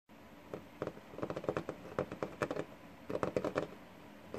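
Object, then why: Wooden desktop. Fingertips of both hands tap and drum on a flat, solid wooden desktop with a worn surface. The result is quick bursts of short, dry, mid-pitched taps with almost no ring, separated by brief quiet pauses.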